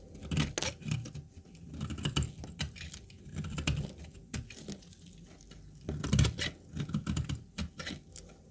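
A hand-sized, solid translucent brown dry laundry soap bar, held in a black-gloved hand, is shaved with a utility-knife blade, with the flakes curling off onto a pile of soap crumbs. Quick, dry scraping strokes follow one another in uneven bursts, each a brief crisp scratch with a bright edge over a low, close rustle that dies away almost instantly.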